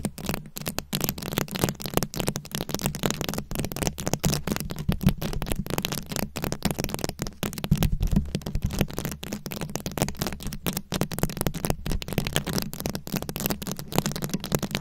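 Long acrylic nails scratch and tap across a fist-sized microphone head fully covered in small glued-on rhinestones and beads. The result is a dense, continuous stream of quick clicking and scratching with a strong low, boomy hum underneath and a faint, crackly high hiss. The texture stays steady from start to finish.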